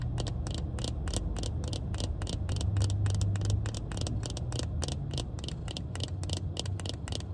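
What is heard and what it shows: Black plastic-frame sunglasses with tinted lenses are held up and tapped on the frame and lens with long red nails. Quick, short, bright clicks repeat at an uneven pace over a steady low hum.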